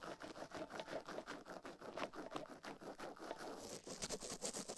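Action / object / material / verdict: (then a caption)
scrape / silicone ear on a microphone, brushed with a plastic toothbrush / silicone / none. A plastic toothbrush brushes and scratches quickly across the silicone ear of a binaural microphone, making a dense run of rapid, dry scratching strokes. The rasping sits mostly in the mid range with a hissy high edge that grows brighter toward the end.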